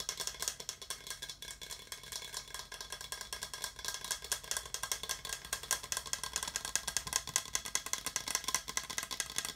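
A small, hollow, translucent orange plastic skull-shaped cup is held and tapped rapidly with fingertips. The result is a dense, irregular stream of quick, dry, clicky taps with almost no ring. The sound is bright and high with very little low end.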